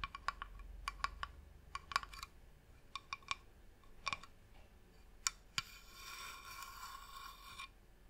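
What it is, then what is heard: Wooden box tapped and scratched with nails. Long nails tap and scratch the top of a medium, hollow, varnished wooden box, producing a series of sharp, bright clicks with a faint hollow ring. Two louder taps follow, then a sustained rough scratching across the surface before it stops.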